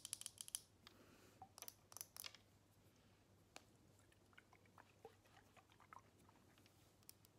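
Long nails tap and scratch a partly full square glass perfume bottle held in the hands. Quick bursts of sharp, bright clicks come in clusters during the first two and a half seconds, followed by quieter, scattered ticks and soft scratches over a faint, steady low hum.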